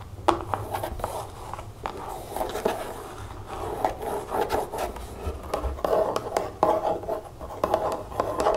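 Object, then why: Plastic bottle with liquid. A large, hollow pink plastic bottle of nail polish remover, holding liquid, is held up and tapped and scratched with long fingernails. Quick, light, hollow clicks and taps mix with dry scratching and rubbing in a steady, busy rhythm. The sound is soft and mid-pitched, with short, dull knocks that die away almost at once.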